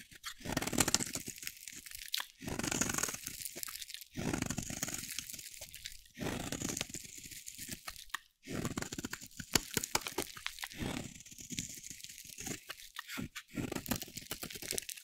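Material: Soap.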